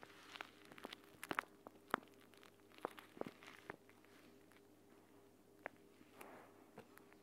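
A hand crumples, pinches and scratches a clear plastic gel bead eye mask, a pouch filled with green gel beads, as it lies on a mat. Quiet, irregular plastic crinkles and crackles are broken by scattered sharp, bright snaps. A faint steady hum sits underneath throughout.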